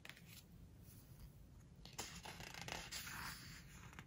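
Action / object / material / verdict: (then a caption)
scrape / hardcover book with glossy paper pages / glossy paper / none. Fingers grip, lift and turn a glossy paper page of a large open hardcover book, and fingertips rub the paper. The quiet, soft rustling swells into a brighter, crisp swish and crinkle in the second half, over a low steady rumble.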